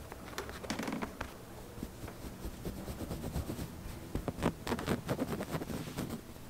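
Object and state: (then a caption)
Fabric upholstered sofa. Short painted fingernails and fingertips scratch and rub the arm and seat of a large, soft but solid padded sofa covered in woven mauve fabric. The result is a quiet, dry, scratchy rustle with a low, muffled body. It comes in uneven bursts and grows busier and louder toward the end of the clip.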